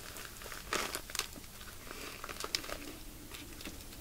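Fingers squeeze a soft, full plastic bag of white polyester fake-snow fiber stuffing, crinkling its thin plastic film. Quiet, bright crackles and rustles come in short bursts, with a few louder crinkles standing out over a soft, steady hiss.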